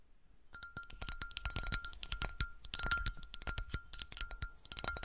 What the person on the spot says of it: 21:06 - 27:01 - Melted glass bottle, tapping with some bassy scratches